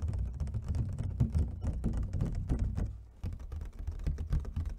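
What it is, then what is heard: Empty plastic clamshell container. Long fingernails of both hands tap rapidly on the patterned lid of an empty, hollow clear plastic clamshell food container. The result is a dense, continuous patter of short, dry clicks over a low, hollow thump, with a brief lull just past the three-second mark before the tapping picks back up.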